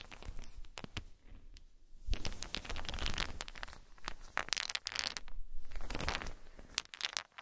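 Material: Wood.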